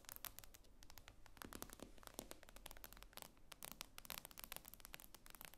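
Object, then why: Glass tablet screen. Long acrylic nails tap rapidly on the glossy glass screen of a thin, solid tablet with a metal frame lying flat on a wooden table. The result is a quiet, dense stream of sharp, bright clicks with almost no ring, over a faint low background hum.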